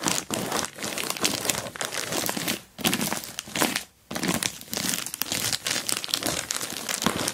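Long black-painted nails and fingertips scratch, rub and press the crinkly surface of an orange glossy plastic Temu mailer bag lying flat with a boxed item inside. Dense, bright crinkling and scratchy rustling runs nearly continuously, broken by two brief quiet gaps.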